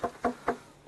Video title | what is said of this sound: Arche Noah 2/6 DOKU NEU 2012 | it's wooden it's not a rock